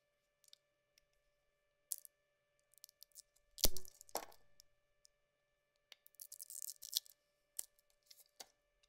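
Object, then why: Solid soap bar shaved with a thin metal blade. A thin metal blade carves the outer layer off a solid yellow bar of soap in a series of short scraping and shaving strokes, each a crisp, bright scratch. Near the middle comes a louder, deeper cut with a low thump and a brief rasp, followed by a burst of quick, dense shaving sounds. A faint steady hum sits under the quiet between strokes.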